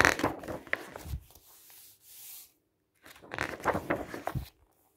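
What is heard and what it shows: Fingertips slide and rub across the pages of a thick printed paper brochure with a green edge lying on a table, then turn them. Crisp, crinkly rustles and flaps are followed by a soft, bright swishing hiss, a brief silence, and another burst of rustling as more pages are turned.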